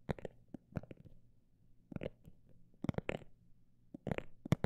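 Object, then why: Textured fabric cosmetic bag. A textured cosmetic bag is tapped with fingers in about thirteen soft, dull taps that come in small clusters, some fast and some spaced out. The taps are quiet and low, with a faint crinkly texture and almost no ring, separated by near silence.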